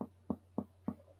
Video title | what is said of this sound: SEMIOLOGIA DO ABDOMEN - FIXANDO O CICLO BÁSICO 2X+ | Normalmente aqui, o hipocôndrio direito, a gente tem um som maciço na percussão